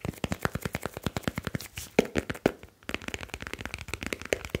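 Fingertips of both hands rub and tap the grey aluminium back of a smartphone with a glass screen and metal back. A rapid run of dry, short clicks and taps with almost no ring, with a couple of sharper, louder knocks around the middle. After a brief pause, quicker, lighter tapping and soft rubbing follow.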